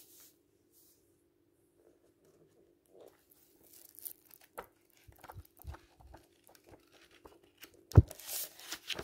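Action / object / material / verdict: scrape / thick paperback book, paper pages / paper / none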